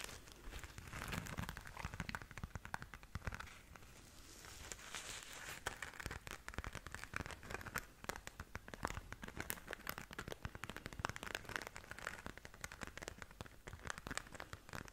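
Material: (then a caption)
Glitter fabric. A small, soft, hollow flat pink glitter zip pouch is held in both hands and scratched and tapped on its glitter surface with long nails. Dense, fast crinkly scratching and crackling runs throughout, with sharp bright ticks and no ringing tail.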